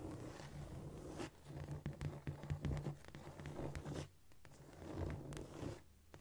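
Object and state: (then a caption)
Cork floor, scratched. Long nails scratch quickly across a flat, solid cork floor, making dry, papery scraping strokes that come in bursts with brief quieter gaps. The sound is mostly low and muffled with a faint bright rasp, with no ringing after each stroke.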